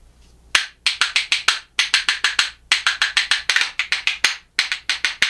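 A pair of reddish, solid makaba birch wood percussion spoons is held in one hand and knocked together in rhythm against the hand. About 26 bright, dry wooden clacks sound in quick groups with short pauses between them. Each click is sharp and high-pitched and dies away almost at once.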